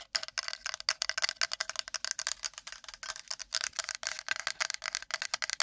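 A wooden plate is tapped and scratched quickly with long nails, making a dense run of short, dry, bright clicks and scrapes with almost no ring. The sound sits mostly above 500 Hz, with many rapid hits close together.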